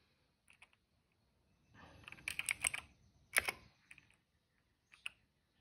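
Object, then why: Plastic mechanical keyboard. Fingertips type on a cream plastic mechanical keyboard with black and purple keycaps and a hollow case. Bright, crisp key clicks come in scattered taps and then a quick burst of typing. Each click dies away almost at once.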